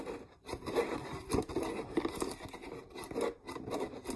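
Long nails scratch the rim and sides of a clear, mostly empty plastic peanut jar. They make a continuous, dense rasping texture that swells and fades in uneven bursts, centered in a hollow midrange with brief quiet gaps between strokes.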